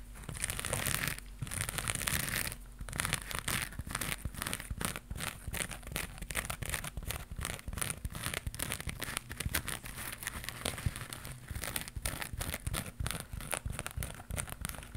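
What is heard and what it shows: A round crocheted yarn pad with a rainbow pattern and white edge, held in one hand, is scratched with long pink nails. Rapid, dense scratching produces a steady rasping and crackling texture, with bright fibrous detail over a low rumble, and the scratches run together closely for the whole clip.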